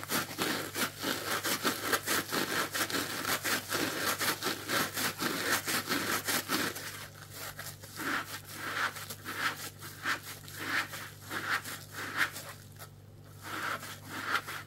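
Fingertips scratch the pink plastic scouring layer of a dry, palm-sized strawberry-shaped scrub sponge, making dense, bright, crackly scratching strokes in an uneven rhythm for about seven seconds. The sponge is then turned over and its yellow foam side is rubbed with the fingertips, giving quieter, softer, more muffled rubbing strokes over a faint steady low hum.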